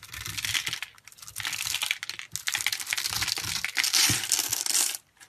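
A hand-sized, solid pink bar of soap held in the hand is scraped and cut with a metal utility blade, shaving off tiny soap cubes. Dense, bright, crisp scraping and crackling fills the clip in long continuous bursts, with a few brief pauses and soft low thumps beneath.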